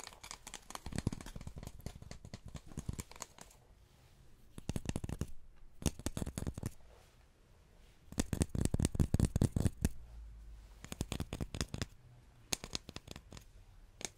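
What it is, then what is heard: Hard cardboard tube. A hard cardboard tube is tapped up close in quick fingertip bursts, with short pauses between clusters. The taps are dry, dull, low thuds that die away almost instantly, at an uneven, rapid pace.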